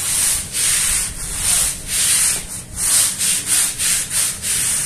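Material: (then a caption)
Fabric. A small wet, foamy woven fabric rug on a stone floor is scrubbed with a long-handled broom with green bristles. Repeated brushing and rubbing strokes give a bright, hissy scrubbing sound that swells and fades with each stroke.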